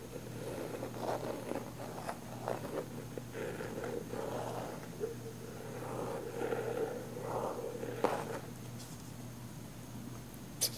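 Long nails scratch the lid and sides of a round plastic body butter jar with a pink floral lid. The result is a steady, soft scraping texture centered in the midrange, with brief brighter scrapes, a low constant hum underneath, and a sharper tap near the end.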